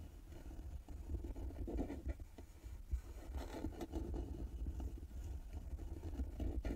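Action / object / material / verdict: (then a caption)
scrape / carved wooden box with metal lid plaque / wood / none. Long nails scratch across the carved wooden lid and embossed metal plaque of a small hollow carved wooden box resting on a table. The result is a steady, low, rumbling scrape with soft grainy texture and almost no bright edge, swelling and dipping slightly as the strokes continue.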